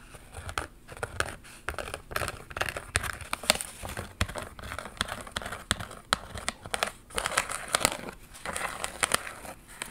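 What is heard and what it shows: Long pink nails scratch and tap a thin cardboard retail card, held in one hand, with small embroidered mermaid iron-on patches attached. The result is a dense run of dry, crinkly scratching broken by quick, sharp taps that die away almost instantly, with a bright, papery edge.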